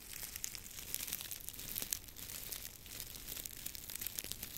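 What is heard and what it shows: A long tied bundle of dry grass or straw stalks is held horizontally above the mic while fingertips rub and crinkle the stalks. The result is a quiet, steady stream of dense, bright crackling and rustling with tiny sharp snaps scattered throughout.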